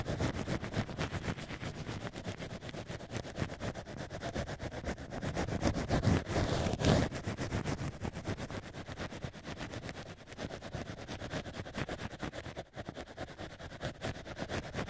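Two thin black ear picks, held by fingertips, scrape inside the holes of two drilled cork wine-stopper ears. The result is a steady, rapid scratching and rustling at about four strokes per second, weighted toward low tones, swelling louder around the middle before settling back to an even scrape.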